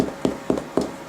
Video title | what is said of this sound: my version of sour dough | see here it taps nicely